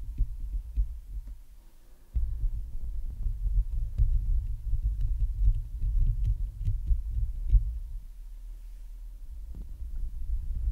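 Long nails scratch the hollow metal mesh grille of a large Blue Yeti microphone, first with one hand and then with both. The result is a dense, deep, muffled rumbling and thumping with a faint steady hum underneath. It grows louder and fuller after about two seconds, eases off near eight seconds, and picks up again toward the end.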